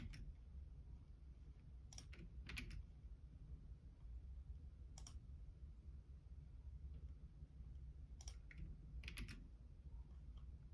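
Fingertips type on the left-side keys of a black plastic Logitech keyboard. Sparse, bright clicks come in small clusters over a steady low hum. The taps are quiet and short, with pauses between bursts.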